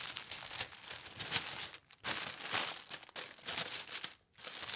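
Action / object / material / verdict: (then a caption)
scrape / thin tissue paper sheet / paper / none. A thin white tissue paper sheet, folded flat on a table, is rubbed and smoothed by flat hands with long red nails. The result is a steady bright crinkling and rustling, with a few brief quiet gaps between strokes.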